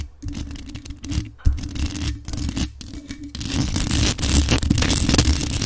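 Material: Metal.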